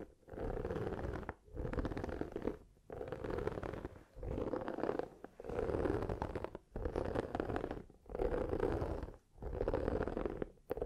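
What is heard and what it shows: Long nails and fingertips scratch and rub the dotted textured surface of a hollow, light blue silicone oven mitt held up close. The sound comes as eight steady bursts of dense, rumbling scratching with a low hum around 420 Hz, each separated by a short pause.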